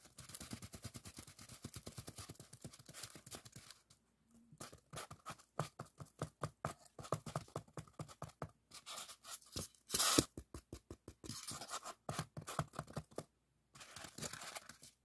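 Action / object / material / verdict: scrape / expanded polystyrene block / polystyrene foam / none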